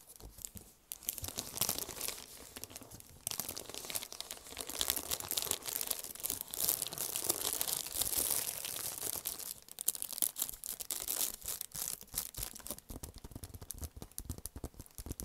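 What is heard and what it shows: A flat, thin gold foil-embossed paper or card envelope, hollow and held in both hands, is crinkled and scratched with fingertips and long painted nails. The clip is a dense, bright crackle of rapid tearing-like scratches and crinkles, heaviest in the middle and breaking into quicker, sharper clicks toward the end.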